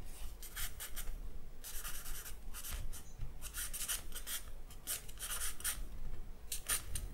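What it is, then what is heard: Charcoal strokes on drawing paper. A thin charcoal stick is scratched across a sheet of white drawing paper in line strokes. It makes a series of short, bright, dry scratching bursts over a low, steady background rumble.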